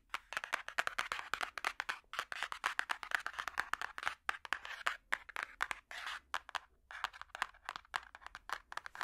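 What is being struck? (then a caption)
Hardcover book with cardboard cover. Metal finger picks tap rapidly on the solid cardboard cover of a large hardcover puzzle book. The result is a fast, uneven stream of short, dry clicks and ticks with bright, crisp edges, centered in the upper midrange, each dying away almost instantly with no ring.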